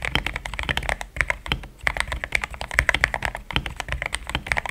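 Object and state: Mechanical keyboard with plastic keycaps.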